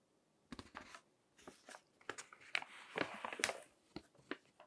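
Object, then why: Glossy paper magazine. Fingertips flip the pages of a thick, crinkled glossy paper magazine on a table, crinkling the paper. Short, bright crackling bursts come in an uneven rhythm over near-silence, with the densest, loudest crinkles near the middle and brief quiet gaps between.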